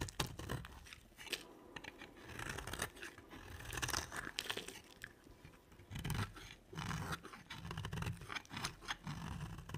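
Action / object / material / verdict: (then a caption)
scrape / soap bar / soap / none. A round, solid, dry white soap bar with a dark rim is held in the hand and scraped and carved with a utility knife blade. The result is a steady run of dry, crunchy scraping and crackling strokes with short bursts of bright texture. Crunchy shavings come off the bar.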